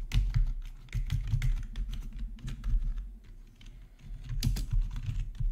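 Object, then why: Plastic membrane keyboard. Fingertips of both hands type on a full-size black plastic membrane gaming keyboard with RGB backlight and a hollow housing, resting on a marble surface. The result is a steady run of quick, dull, hollow-sounding taps, heavy in low tones, with brief bright clicks. The typing eases into a softer lull midway before picking up again.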